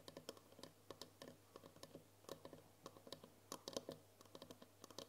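Long nails tap quickly and irregularly on the side of a tall cylindrical glass jar with a green lid, full of foil candy wrappers. The result is a soft stream of short, bright clicks with almost no ring, over a faint steady low hum.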